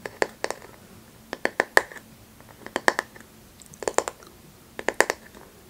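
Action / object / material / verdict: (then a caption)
tap / bamboo paddle hairbrush back / bamboo / none. Long manicured nails tap and scratch the solid back face of a flat, light bamboo paddle hairbrush held upright by its handle. About eighteen sharp, dry clicks arrive in irregular little clusters, each with a brief woody ring near 1.8 kHz and a bright edge that dies almost instantly. Faint scratching fills the quiet gaps between the taps.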